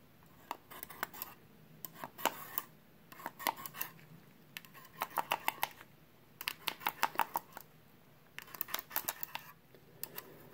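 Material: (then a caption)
Sheet metal. A small perforated sheet-metal hard drive caddy, held in a gloved hand, is tapped with a pen tip in quick clusters of sharp, bright metallic clicks. Each tap carries a short ringing tone around 930 Hz that fades almost at once, with quiet pauses between the bursts.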